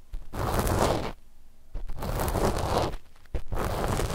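The cotton tips of two cotton swabs scratch across a flat sheet of black knit fabric laid over microphones. The sound is a dense, low-heavy rustling scrape that comes in three sustained bursts separated by brief quiet gaps.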